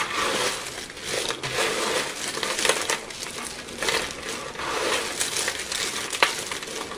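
Two hands with short painted nails squeeze and crush a large pile of small, brittle, multicolored dry soap shards on a white surface, rubbing them between fingertips and palms. A steady, bright crunching and crackling runs throughout, with almost no low end and a few sharper snaps standing out.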